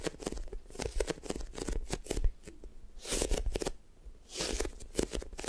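Long nails and fingertips squeeze, press and tap a light-blue sticky foam squishy toast toy. Rapid, soft sticky crackles and taps run throughout, with two brighter, hissy swells of peeling and squishing near the end.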